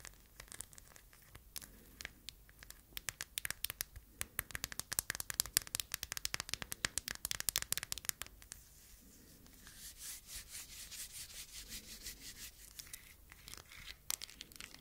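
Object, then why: Phone wrapped in aluminum foil. Long nails scratch and rub the crinkled aluminum foil wrapped around a handheld phone. Dense bursts of sharp, high crackling ticks for about eight seconds give way to a softer, steadier rustling swell, with a few more sharp ticks near the end.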